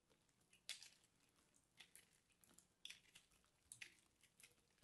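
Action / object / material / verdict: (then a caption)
scrape / starch-coated soap ball / soap / none. A small blade scratches and cuts into the surface of a dry, solid, crumbly purple soap ball about the size of a golf ball, coated in starch and held in the hand, until the ball breaks apart. The sound is a quiet, bright, dry crumbling and scratching with sharp crackles that stand out above a soft hiss and fade almost instantly.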